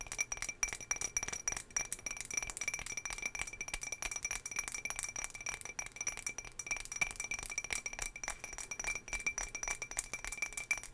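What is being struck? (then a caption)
Small glass jar. A small, patterned turquoise glass jar holding cotton pads is tapped rapidly and continuously. It gives bright, clear glassy clinks with a high ringing tone that dies away quickly after each tap.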